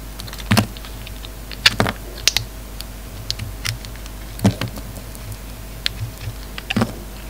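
A dark red bar of soap with a pink inside is scraped and carved with a metal utility knife blade. Short, crisp scraping clicks with bright, high edges and a dull low thump come in uneven bursts over a steady low hum.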